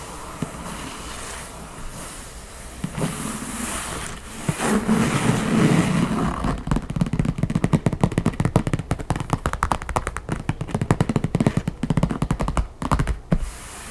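Long painted nails and fingertips scratch across the top of a closed backgammon case with an old-world map printed cover, hard and hollow, lying flat. After about six seconds of soft scratching and scattered taps, the sound turns into rapid, uneven fast tapping with a low, hollow knock.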